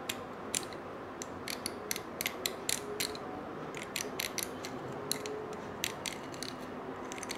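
A stiff-bristled brush scratches across the coils of a small gold-colored coiled wire bangle held in one hand. The result is a rapid series of short, bright, ratchet-like clicks that die away almost instantly over a steady, dense mid-range rustle.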